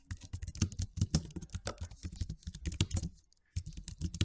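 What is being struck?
Low-profile plastic keyboard.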